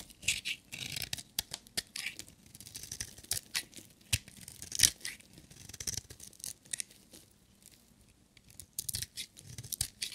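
A solid black bar of dry soap with glitter stripes is shaved with a metal utility knife blade. Crisp, bright scraping and crackling strokes come in quick bursts, with short dry shavings sounds and brief pauses between them.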